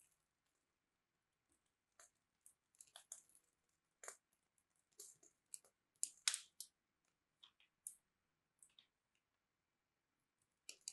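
A small metal blade cuts a crosshatch into a solid, palm-sized purple bar of soap held in the hand, then scrapes off small soap cubes. Quiet, bright, crisp scraping and crackling comes in short, irregular bursts with brief pauses between them, and almost no low end.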